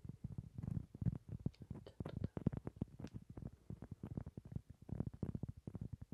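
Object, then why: Cork trivet. A round solid cork trivet is held up close while fingertips and nails tap and scratch its surface. The result is a dense, uneven run of soft, dull, low thuds and brushing scratches with almost no ring. The taps cluster into quick bursts with brief gaps between them.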